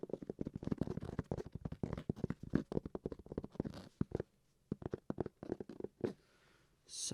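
Fingertips tap rapidly on a hard-shell carrying case for a game console after it has been scratched, producing short, dull, low-pitched knocks that sound almost like tapping a hardback book. The taps come in dense bursts, then thin out with brief pauses, and a soft, bright scratchy rustle closes the clip.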